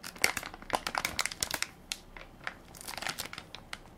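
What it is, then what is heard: Plastic baby wipes pack. Fingertips and nails crinkle and scratch the film top of a full, soft plastic-film baby wipes pack with a plastic lid, held in one hand. The result is a quick, irregular series of short, sharp crackles and scratchy rustles, bright and high with almost no low end, each snapping off instantly between quieter stretches of fine crinkling.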